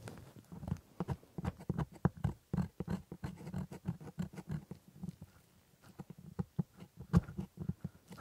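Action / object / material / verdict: scrape / plastic typodont jaw model with plastic teeth / plastic / none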